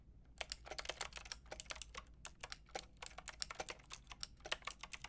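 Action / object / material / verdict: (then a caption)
tap / plastic mechanical keyboard keys / plastic / none. A Lofree mechanical keyboard with a white plastic case and round pink and grey plastic keycaps is typed on rapidly with fingertips and long red nails. About thirty crisp, bright plastic clicks come in quick, uneven bursts, each dying away almost instantly. A faint music bed and a low steady hum sit underneath.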